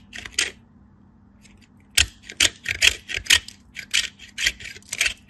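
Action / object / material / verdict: scrape / bar soap on a steel grater / soap / none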